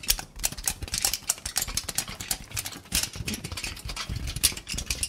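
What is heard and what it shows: A loose crumpled sheet of thin aluminum foil is held in both hands and crinkled and rubbed with the fingers. It gives a dense run of sharp, bright crackles and rustles with quick, dry snaps and little low sound.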